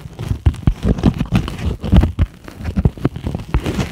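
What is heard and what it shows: Long acrylic nails tap and scratch across the surface of a flat, thin, solid grey-white closed-cell polyethylene foam sheet. The result is a rapid, irregular run of dull, muffled taps and soft scraping, heavy in the low end with almost no brightness, each tap dying away quickly.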